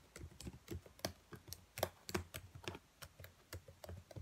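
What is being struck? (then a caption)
Plastic laptop keyboard keys. Fingertips with long nails tap and type on the keys of a black plastic laptop keyboard. About sixteen quiet, short clicks come at an uneven pace, each with a dull low thud and a bright plastic tick that dies away almost instantly.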